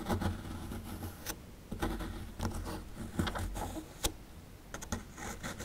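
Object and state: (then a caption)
Plaster dig block being chipped. A metal pick chips and scrapes loose plaster from the upper edge of a small, solid plaster fossil dig block held in the hand, with crumbs falling away. The sound is a series of short, dry scratches and sharp ticks with bright gritty edges, over a steady low hum.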